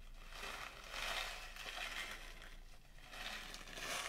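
A small plastic pouch partly filled with blue sugar sprinkles is held up, shaken and crushed by hand. It gives a steady, bright crinkling and crunching rustle that swells and fades in waves throughout, with little low end.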